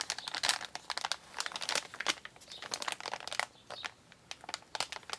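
Both hands, fingertips and painted nails, press, rub, scratch and crinkle a large, flat, empty brown recycled kraft-paper Amazon mailer bag resting on a wooden table. The result is a dense run of quick, dry, bright crackles and crinkles with brief scratchy rubs in between, and no low end.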